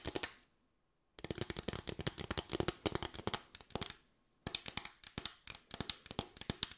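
Long white nails rapidly tap and scratch a small, light bamboo board with raised slats, producing dense bursts of dry, bright clicks and scraping ticks. The clicks stop cleanly with almost no ring. The bursts fall silent twice for brief pauses before resuming.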